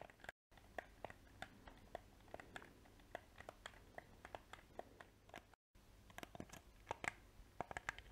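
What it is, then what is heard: Plastic game controller. Painted fingernails scratch and tap the shell of a small, hollow, black plastic PS4 controller. Sharp, bright clicks and light scratchy crunches repeat over a faint hiss, with two brief silent gaps. Each tap dies away almost instantly with no ring.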